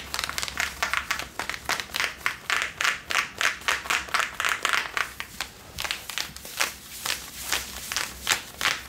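Long nails scratch worn, soft Levi's blue cotton denim jeans over the body, working the back pockets and waistband. The result is a quick, uneven run of bright, dry scratching strokes with little low end. A hanging tag may add a faint crinkle.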